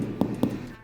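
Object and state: Hollow-sounding baked sourdough loaf.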